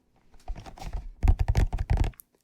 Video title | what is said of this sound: ASMR Red Triggers for Sleep | the hollow box does make some pretty nice tapping sounds